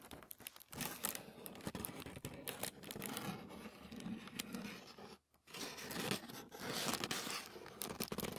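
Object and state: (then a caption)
Thin tissue paper. A sheet of thin white tissue paper lies flat on a wooden table while fingertips and nails scratch and tap across it. The result is a dense stream of bright, crisp crinkling and scratching with quick taps. There is a brief silent pause past the five-second mark before the rustling resumes.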